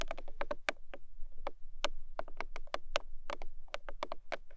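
Long nails tap quickly on the top of a small, long pink paperboard product box standing on its side, then grip its ends. The taps are short, dry and hollow, centered near 600 Hz with bright clicky edges, over a faint low rumble.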